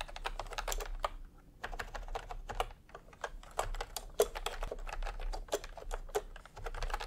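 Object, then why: Plastic keyboard with round keycaps. Fingertips type steadily on a full-size retro keyboard with a peach plastic case and round, typewriter-style plastic keycaps. Quick, dry, clacky taps come in uneven bursts with brief pauses, each one short and bright over a faint low background hum.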